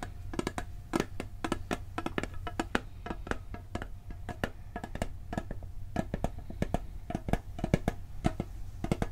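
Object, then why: Steel cookie tin. A round, hollow blue steel cookie tin has its lid and side tapped with fingertips and nails. The result is a rapid series of short, dry clicks and taps over a low steady hum. Each tap has a brief hollow ring and very little decay.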